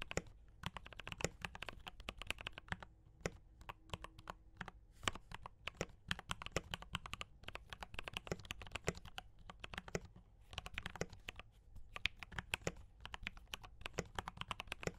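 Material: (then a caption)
Plastic. Fingertips of both hands type steadily on a D84 mechanical keyboard with brown switches and cream and red plastic keycaps. It makes a continuous run of quick, dry clacks with a bright top and a low thock beneath, broken by brief pauses. Each keystroke dies away almost instantly.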